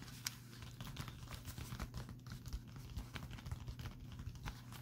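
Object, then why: Metallic foil bubble mailer. A pink metallic foil bubble mailer lying on a table is tapped and scratched with fingertips and short painted nails. Quick crinkly taps and scratches sit over a steady low hum, with brief bright clicks scattered through the clip.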